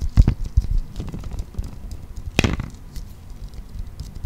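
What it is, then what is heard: Clear plastic toy ball. Fingertips and nails patter on a clear plastic toy ball, a hollow transparent plastic sphere with a green toy inside. Soft, dull, low taps cluster near the start. One sharper, brighter tick comes midway, then quieter tapping fades into a low hush.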